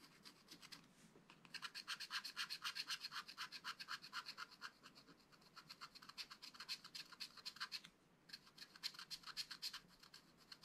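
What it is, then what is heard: Scratch-art paper being scratched. A wooden stylus scratches hatching strokes into the flat black-coated card of a spiral-bound scratch-art pad, revealing the colored layer beneath. Dozens of quick, bright, dry scratches come in a steady rhythm of about four per second, with brief pauses near the start and around the eight-second mark.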